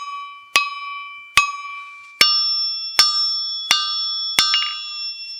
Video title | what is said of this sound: Enclumes | vu qu'elle est en extension par rapport à l'enclume, c'est normal qu'elle résonne plus